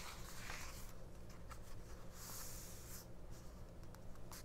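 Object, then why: Thin paper booklet. Long painted nails tap and scratch the thin matte printed pages of a small open paperback mini-book lying flat on a fabric cloth. Soft, bright scratching bursts and light papery taps come and go over a steady low hum, staying quiet and close throughout.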